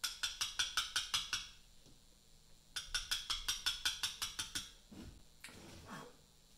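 A small round mallet strikes a chisel to cut letters into a large, solid Portland limestone memorial block. It gives two quick bursts of sharp, bright, short-ringing taps: 8 hits, a pause, then 12 more. Softer, duller scraping sounds follow.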